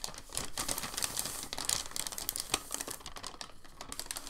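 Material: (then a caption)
Paper. A large, thin, crinkled sheet of white packing paper lies flat on a dark table while a flat hand presses it down, then lifts and folds it over. The result is a dense stream of bright, dry crinkling and crackling with quick, sharp snaps that stop almost instantly.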